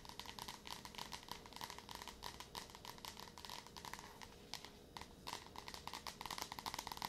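Long nails tap rapidly on the glossy card cover of a yellow Wayside School paperback, a solid paper book, close to the mic. The quiet, bright, crisp clicks run in continuous clusters with a slight papery crinkle and no ring-out.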